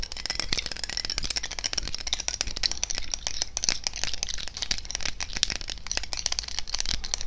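A glass perfume bottle filled with yellow liquid and topped with a red cap is held in the hands and rapidly tapped and scratched with fingernails close to the microphone. The result is a steady stream of quick, dry clicks and scrapes with a bright, high glassy edge over a low rumble, each tap dying away instantly.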